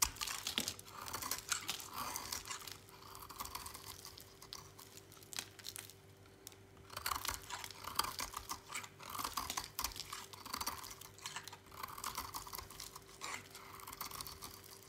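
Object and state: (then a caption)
Dry soap bar shaved with a blade. A snap-off utility knife blade scrapes and shaves flakes off the edge of a palm-sized, oval, solid bar of dry lilac soap held in a hand with long pink nails, the flakes falling onto a pile. Dense, dry, crisp scraping and crunching comes in bursts with a bright, gritty texture. A faint steady hum runs underneath, and there is a brief quieter pause around the middle.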